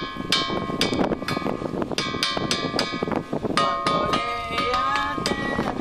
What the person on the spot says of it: Em cada lugar que bate, faz um barulho diferente.